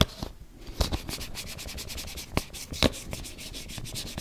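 Fingertips and nails rub and scratch the lid and rim of a round, hand-sized, closed body-butter tub, likely plastic. The result is a steady, dry, bright scratching and brushing texture, broken by a few sharper, brief clicks that die away almost instantly.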